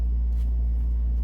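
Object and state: Nothing is struck.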